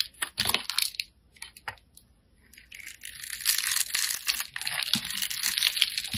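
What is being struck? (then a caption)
Bar of soap. A hand-sized solid white bar of soap, held in the fingers, is scraped and carved with a metal blade, throwing off crunchy shavings. Short, bright scraping crunches come in a quick, irregular run, with a near-quiet pause around two seconds. Then denser, continuous carving takes over that is mostly high and crisp with almost no low end.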